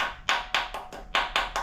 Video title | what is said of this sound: 6.0L LY6 BTR TRUCK NORRIS CAM INSTALL DAD’S NEW ENGINE! 5.3L TO 6.0L SWAP! | you can hear the tone change if you need to tap it in you can hear when it bottoms out